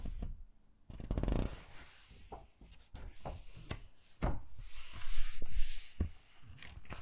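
Hands turn the glossy pages of an open hardcover book, then press and rub a flat palm over a page. Soft, short taps and low thumps mix with crisp page rustles and a bright, airy brushing hiss that swells toward the end.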